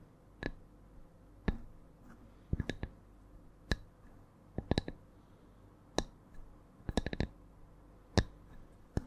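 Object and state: Wooden log slice.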